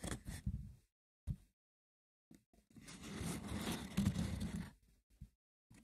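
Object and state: Woven wicker basket box.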